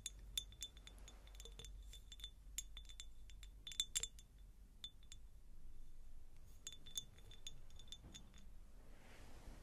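Long nails tap a medium, hollow, empty cut-crystal glass jar, producing a quick series of bright, short glassy clinks with a ringing tone around 3.5 kHz over a low background hum. Near the end, the nails scratch across the jar, giving a soft, airy rasp.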